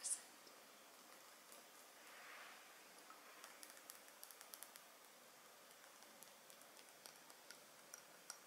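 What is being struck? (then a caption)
Glass perfume bottle with metal cap. A palm-sized Dolce&Gabbana The One lace edition perfume, a rectangular glass bottle filled with liquid and topped with a heavy gold metal cap, is held in both hands and tapped and scratched with long painted nails and fingertips on the glass and cap. A sharp bright click opens the clip, followed by a soft brushing swish. Then a quiet string of light, crisp, high-pitched nail taps runs over a faint hiss.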